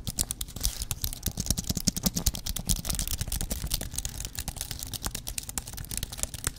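Fingertips type and tap on the plastic keys of a thin white aluminum computer keyboard held in both hands. A fast, uneven run of short, dry clicks and taps sounds throughout, with bright key clatter over a soft low thump on each press.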